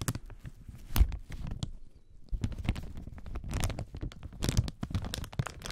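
Gloved fingertips scratch, rub and crinkle a loose, clear plastic protective film lying over the black panel of an audio mixer. A dense, close-up crackling rustle with sharp crinkly snaps runs throughout, over soft low thumps where the film presses against the panel, with a brief quieter lull midway.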